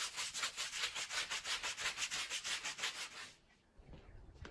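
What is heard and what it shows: A long-handled green push broom with stiff bristles scrubs across a small wet, soapy woven pile rug of wool-type textile lying flat on the floor. Quick rhythmic strokes of bright, hissing bristle scrubbing repeat about three times per second for roughly three seconds. Then the scrubbing stops and only faint low rumbling follows.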